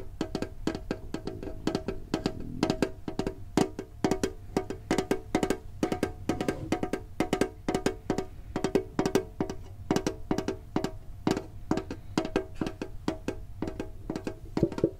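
A small hollow green printed metal Pokemon card tin with a lid is held in hand and tapped with fingertips and short nails. The result is a dense stream of quick, hollow taps with short ringing tones around the low midrange.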